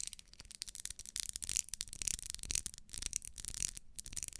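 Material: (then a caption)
Wax. Long nails scratch the ribbed wax side of a small, solid pink ribbed wax pillar candle. The result is a quiet, dense run of rapid, bright, dry scratching strokes with almost no low end. Each stroke stops short with no ring.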